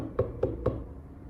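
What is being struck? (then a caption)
Watermelon. A watermelon's rind is tapped three times to judge ripeness, giving short knocks with low body around 100–500 Hz and little high end. Each knock dies away quickly, and no verdict on ripeness is given.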